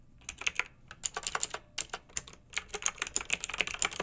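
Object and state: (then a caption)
Plastic mechanical keyboard being typed on. Fingertips and long nails type on a pink backlit mechanical keyboard with round, typewriter-style plastic keycaps. Quick, irregular bursts of bright, crisp plastic clicks and clacks sound, each dying away almost instantly, with little low-end weight.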